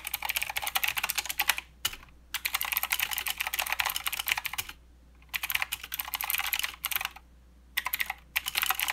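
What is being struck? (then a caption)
Mechanical keyboard with plastic keycaps. A mechanical keyboard with plastic keycaps and blue switches is typed on with the fingertips of both hands, making a fast stream of bright, sharp clicks. The typing comes in bursts separated by short pauses, with a faint low hum running underneath throughout.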